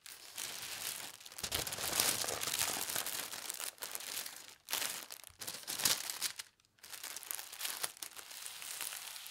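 Fingertips with long red nails smooth and rub across a thin teal tissue paper sheet lying flat on a table. The result is a continuous, bright, papery crinkling and hiss, nearly all high-frequency with almost no low end, rising and falling in waves with a few brief pauses.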